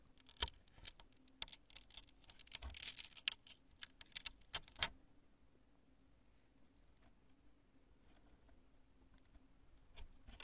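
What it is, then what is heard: Cured polyurethane spray foam. Long nails scratch a chunk of cured polyurethane spray foam and pick at its thin strands, making bright, crackly scratches and sharp dry clicks for about five seconds. Then it falls almost silent, with only a couple of faint soft taps near the end.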